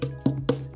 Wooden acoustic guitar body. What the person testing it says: this one doesn't have a loose brace so you're not hearing the rattle sound